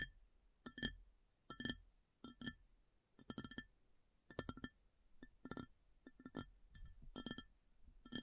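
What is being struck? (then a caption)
Ceramic plate tapped with fingernails. Long nails tap the flat top of a large, shallow, round white ceramic plate that lies upturned and empty. Bright, glassy clinks come in irregular bursts and quick flurries with short pauses between them, and each tap dies away almost at once over a faint low thud.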